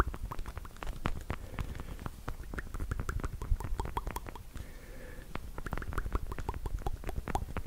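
Long black pointed plastic fake nails on fingertip covers, small and hollow, are tapped together in front of the microphone. A fast, uneven stream of light clicky taps plays throughout, each a short dry tick with a dull low thump beneath it and a faint hollow ring.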